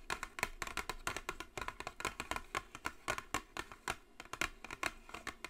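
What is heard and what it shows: Long blue acrylic nails tap and scratch the top of a flat, hollow white cardboard gift box with gold "JISEN" lettering, lying on a speckled table. A rapid, continuous stream of quick, dry, papery ticks is heard, with a bright clicky edge and almost no ring. There are soft scratchy brushes between the taps.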